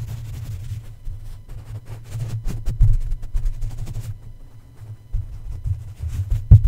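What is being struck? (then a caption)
Metal mesh microphone grille tapped by a plush toy. Plush toy feet stomp and tap on top of the hollow black metal mesh grille of a red condenser microphone. Irregular soft, muffled thumps sit almost entirely in the deep low end around 105 Hz, over a steady low rumble. Each tap dies away quickly, with a few louder knocks near the end.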